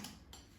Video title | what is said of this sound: Air Fryer Frozen Steak Fries - so crispy, OMG! 🍟😋👍 | Hear how crispy they are? So nice and crispy.